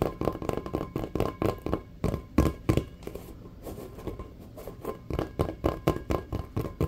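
Fingertips and nails tap and scratch quickly on a full-size, hollow, inflated checkered rubber basketball. Fast bursts of dull, low, hollow thumps die away almost at once. A quieter stretch of soft scratching in the middle separates them.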